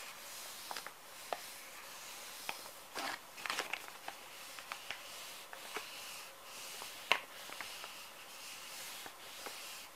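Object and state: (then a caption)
Plastic wet wipes packet, full. Fingertips rub and tap the surface of a small, full, soft plastic-film pouch of wet wipes. Quiet, bright crinkling and rustling run under a steady airy hiss, broken by short, sharp taps and crackles at irregular moments, with the loudest near the seven-second mark.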